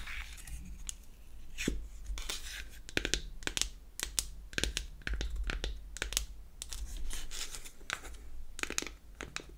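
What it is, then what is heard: Wooden powder compact. A square unfinished beech-wood powder compact is opened and then closed while long acrylic nails tap and scratch across its wooden faces. Short, dry, bright clicks and rasping scrapes come in quick bursts over a steady low hum.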